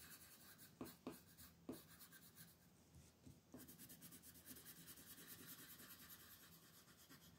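A red colored pencil scratches and rubs short coloring strokes across the feathers on a flat paper coloring book page lying on a table, while the other long-nailed hand holds the page. The quiet, dry scratching opens with a few sharper pencil strikes, then settles into a steady, bright rasping rhythm of strokes.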